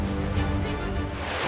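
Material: Nothing is struck.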